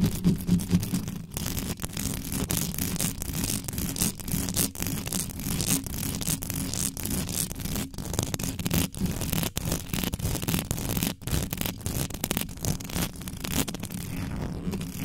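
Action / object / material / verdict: scrape / metal mesh microphone grille / metal mesh / none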